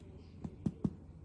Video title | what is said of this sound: PKU & Low Protein Bread rolls | they've got a nice hollow sound. I hope you can hear that. So, they're baked.